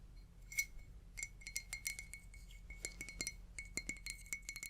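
A glass object is tapped in a quick, uneven run of light taps, each giving a short, bright clink with a clear ringing tone around 2.2 kHz that fades almost at once. A faint, steady low hum stays underneath throughout.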